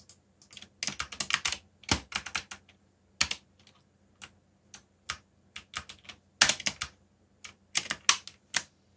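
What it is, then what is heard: Plastic mechanical keyboard. Fingertips type on a backlit black plastic mechanical keyboard, producing bright, short clacking keystrokes. The keystrokes come in irregular quick bursts with brief pauses, over a faint steady low hum.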